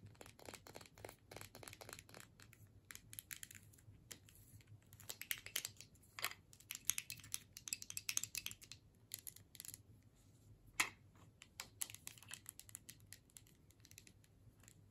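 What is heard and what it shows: Long nails tap and scratch across the metal screw-cap lid and the body of a filled plastic tube. The result is a quiet, steady stream of dense, crisp clicks and scratchy ticks that are bright and high, each dying away almost instantly over a faint low hum.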